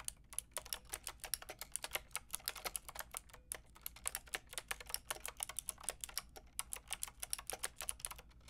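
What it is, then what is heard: Plastic mechanical keyboard. Fast typing with fingertips and long red nails on a Lofree plastic mechanical keyboard with a plastic frame and round keycaps. It produces a dense, steady stream of sharp, bright clicks with very short decay over a quiet low hum.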